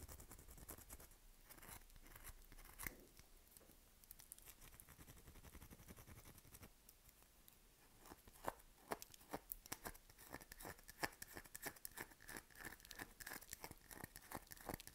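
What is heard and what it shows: A solid, dry lilac bar of soap held in the hand is scratched repeatedly with long nails, and soap crumbs collect on the fingers. The sound is a quiet, continuous run of dry, crunchy scrapes and crackles with bright high hiss. The strokes come faster and sharper in the second half.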